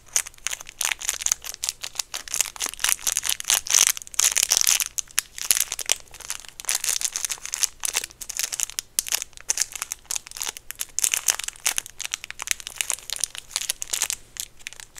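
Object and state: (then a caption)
Peppermint candy in plastic wrapper. Fingertips crinkle and twist the clear plastic wrapper around a small, round, solid white peppermint candy held close up. The result is a dense, continuous stream of sharp, dry crackles and rustles, almost entirely bright and high with very little low end. Louder bursts come around the four-second mark, and a faint low hum sits underneath.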